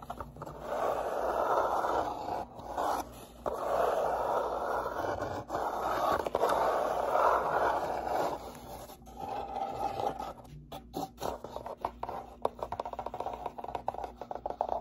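Fingertips and nails rub and scratch the inside walls and flaps of an open, empty, hollow brown corrugated cardboard box. For about the first nine seconds there are long, steady scraping strokes with a papery midrange hiss, separated by brief pauses. After that, the sound turns to quieter, choppier, quick scratches.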